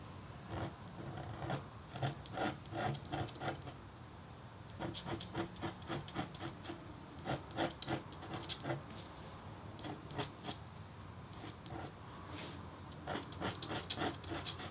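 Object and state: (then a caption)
Copper-foil scratch-art board being engraved. A red-handled metal stylus scratches lines steadily into a flat, thin, black-coated copper-foil scratch-art board. The result is quick, rasping scrape strokes in uneven bursts, bright and crackly with a faint low hum underneath. There are brief quieter pauses between groups of strokes.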